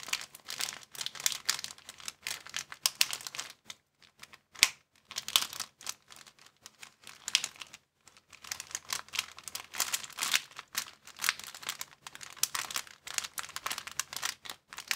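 A thin, empty, clear transparent plastic bag is crumpled and crinkled by fingers. The result is dense, bright crackling in bursts, with brief pauses around 4 and 8 seconds and one sharp louder crackle near 4.6 seconds. There is no low-end body to the sound.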